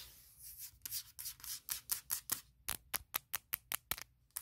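Long nails tap and scratch the flat aluminum top case of a closed MacBook Pro laptop. A soft, hissy scratch opens into a series of about 15 bright, sharp clicks with almost no ring, spaced more evenly toward the end.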